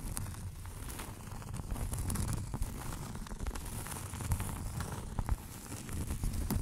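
Long acrylic nails tap and scratch on a flat round cork board or coaster, about hand-sized or larger, held behind the mic. The result is a steady, dense stream of soft, dull, crackly taps and rustling scrapes. The sound is low and muffled, with short clicks that die away almost at once.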